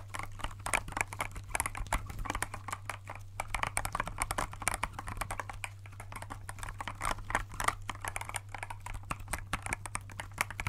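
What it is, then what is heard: Clear plastic mechanical keyboard. Gloved fingertips tap quickly across the clear keycaps of a compact transparent plastic mechanical keyboard held in both hands. The result is a dense, quiet stream of short, crisp plastic clicks and clacks over a steady low hum.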